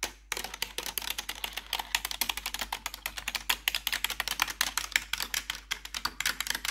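Long pointed metal nail claws worn over blue gloves rapidly tap and scratch the keys of a black plastic RGB backlit computer keyboard. The result is a steady run of dozens of sharp, bright clicks centered around 2.2 kHz, each dying away almost instantly, with light scratchy rasps between them and very little low end.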